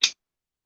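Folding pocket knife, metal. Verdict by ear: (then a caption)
Tight. A cheap, roughly $20 metal folding pocket knife is flicked open after its pivot was tightened because it was falling apart. A single sharp, bright click rings out and dies almost at once, followed by a softer, duller knock a moment later. It no longer makes its old opening sound, just a clean click.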